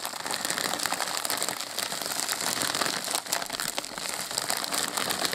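A white polyethylene postal mailer bag, hollow and holding a padded package, is held and squeezed by both hands with the fingertips, crinkling and rubbing its thin plastic film. The result is a steady, dense crackle of bright, papery crinkles with almost no low end and only brief dips in loudness.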